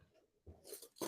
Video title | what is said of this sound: Tortilla Espanola and Papas Bravas I Tapas Series | they're crispy I'm going to show you with my Fork